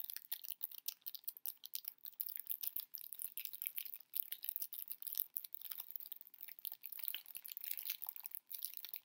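A small heart-shaped chocolate box with a Peanuts print, wrapped in clear cellophane, is held in both hands while fingers and nails crinkle and scratch the wrapper. The result is a quiet, steady stream of dense, bright crackles and rustles with no low end, each snap dying away almost instantly.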